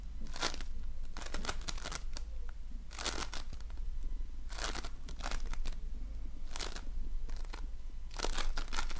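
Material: Foam beads.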